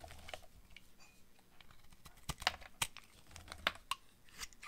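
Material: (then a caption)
Soap. A utility knife blade shaves and cuts curled slices from a solid, hand-sized purple oval bar of dry soap held in one hand. The result is a series of short, dry, crisp scraping and crunching cuts with bright, high hiss and very little ring. The cuts come at an irregular pace, with several sharp louder snaps among quieter scrapes.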